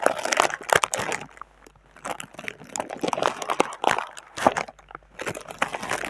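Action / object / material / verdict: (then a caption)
scrape / thin plastic air-cushion packing film / plastic / none. Hands with long dark red nails rub and crinkle the top sheet of thin clear plastic air-cushion packing film with green logos, with the microphone resting on the plastic. Dense bursts of bright crumpling and crackling come in waves, separated by a quieter stretch.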